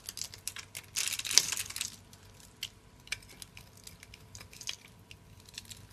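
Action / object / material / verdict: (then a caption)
scrape / bar of soap scraped with a small metal blade / soap / none. A small metal blade scrapes and carves a solid, hand-sized bar of dry purple soap held in one hand, cutting it into grid cubes that crumble off. A loud, dense, bright scraping crunch runs for about a second near the start, then gives way to scattered short, crisp crackles and ticks. Almost no low end comes through.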